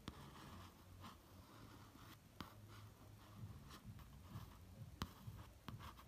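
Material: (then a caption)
Laminated cardboard. A fingertip traces the lip, nose and eye lines on the glossy printed cover of a laminated cardboard hardcover notebook, making a soft, quiet rubbing and scratching sound over a low rumble. A few short, sharp taps stand out and stop almost at once.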